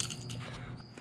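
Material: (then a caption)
Fiberglass. Fiberglass exhaust heat wrap from the header collector pipes of a turbocharged Dodge D150 with a small block 360 V8, which the heat has turned glass-hard and brittle, is handled and gives a dry, glassy crunching crackle over a low background hum. The wrap is badly cracked and fibered up, with glass-like pieces scattered on the floor.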